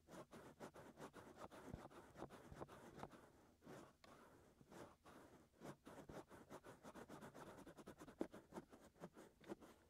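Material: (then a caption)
Silicone. Short fingernails and fingertips scratch inside and around the canals of the white soft silicone ears on a black 3Dio binaural microphone mounted on a tripod. The result is a quiet, close run of dry, rapid scratching and rubbing strokes. The strokes come in quick bursts with brief pauses between them.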